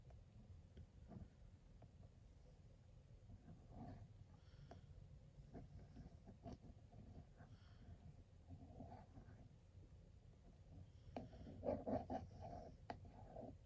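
A small metal plug tip traces around the printed image of ladoos on the side of a blue glossy cardboard sweets box. The result is a quiet, low, rumbly scraping broken by soft, irregular ticks. A few sharper, brighter clicks come near the end.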